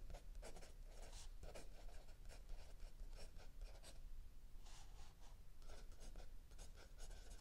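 A mechanical pencil writes continuously on a lined paper page of a spiral-bound notebook lying flat on a wooden table, with an open paperback book resting still under the other hand. Soft, bright scratching strokes come in quick bursts over a quiet, low background hum.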